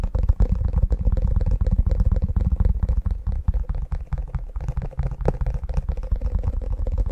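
Fingertips tap and scratch the underside and edges of an empty, flexible, light teal silicone ice cube tray with hollow square cavities, held in both hands close to the mic. The result is a steady, rapid run of soft, muffled, deep thumps with very little brightness, each tap dying away almost instantly under a faint scratchy texture.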